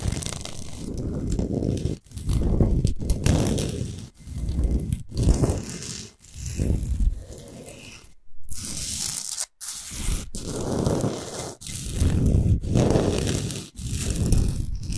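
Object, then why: Rock salt block. Long nails and fingertips scratch and tap the top surface and edges of a large, flat, rectangular solid block of pink Himalayan rock salt resting on a dark rug. Bursts of fast, gritty, rasping scratching with a low, muffled body are separated by brief silent pauses.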